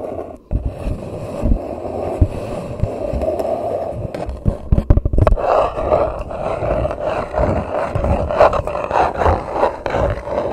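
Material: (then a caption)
Paper. An empty grey paper coffee cup sits upside down over a microphone while long nails tap along its sides and then on its flat base on top. The cup gives a hollow, muffled roar with a steady low-mid hum, broken by quick, dull taps that cluster most densely partway through.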